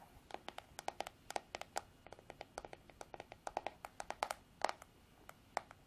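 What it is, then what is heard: Plastic hairbrush back tapped with nails. Long artificial nails tap and scratch the smooth, white, hollow plastic back of a paddle hairbrush. About 32 quick, dry clicks come in an uneven rhythm, each with a brief hollow knock near 780 Hz and a bright edge that dies almost at once. Faint scratching fills the quiet gaps.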